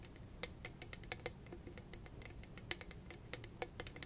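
Long red nails tap and scratch across a hollow, hand-sized cylindrical tumbler covered in purple rhinestone studs. A quick, irregular stream of sharp, bright clicks sounds like typing, each dying away almost instantly over a soft, low scratching bed.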